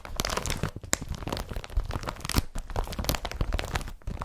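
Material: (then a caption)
Polypropylene. Fingertips scratch and tap the surface of a blue woven polypropylene IKEA BRATTBY carrier bag laid flat. The result is a dense, crinkly rustle with rapid scratchy strokes and soft low thumps from the taps.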